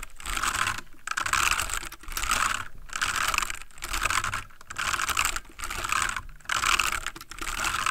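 Fingertips of both hands type rapid key taps on a full-size backlit plastic mechanical computer keyboard. Dense bursts of bright, clicky keystrokes with very short decay run about a second each, separated by brief pauses, with little low-end weight.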